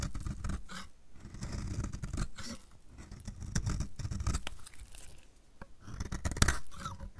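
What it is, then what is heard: Dry bar soap being shaved. A metal utility blade shaves flakes off the edge of a solid, dry, purple striped bar of soap held in the hand. Short, dry crunching scrapes come in waves, with a dense low rasp and bright crackling flecks. Each cut ends quickly with almost no ring.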